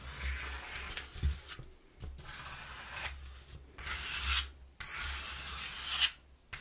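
Long nails and fingertips scratch and tap the inner surface of an opened, flattened brown corrugated cardboard box, thin and hollow, lying on a wooden floor. Bursts of bright, raspy scratching and rubbing alternate with brief pauses, punctuated by a few sharp, hollow taps over a low rumble.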